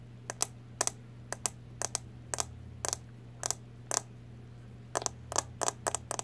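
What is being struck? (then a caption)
Plastic makeup powder compact tapped with fingernails. Long nails tap a small round CoverGirl Clean powder compact, a plastic case with a clear lid held in both hands. About seventeen short, bright clicking taps come in quick pairs and small clusters, each dying away almost instantly over a faint, steady low hum.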